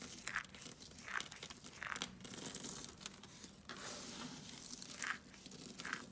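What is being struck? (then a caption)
Soap flakes on foil. A pile of pink dry soap flakes on a foil sheet is scooped up, rubbed and pressed between both palms with fingertips and long nails, crumbling the flakes. Dense, bright crunching and crinkling runs continuously. Sharper bursts recur about every second.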